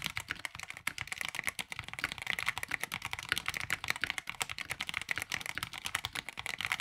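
Both hands type continuously with fingertips on a tape-modded NYK Nemesis Daemon 65% mechanical keyboard with a black plastic case and ABS keycaps. A dense, steady stream of short, bright, clacky keystrokes with almost no ring, and little low-end thump.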